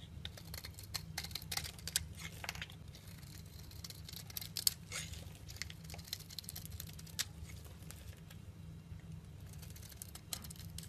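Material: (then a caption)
Soap. A solid olive-green bar of olive oil soap is held in the hand while a metal cutter blade slices and scrapes thin strips off its surface. The sound is a soft, steady run of dry scraping and crinkly cutting with many short, bright clicks over a low, constant hum.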